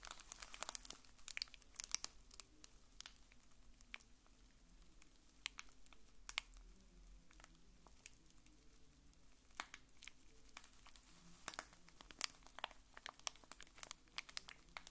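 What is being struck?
Plastic film wrapper on a small bar-shaped pack.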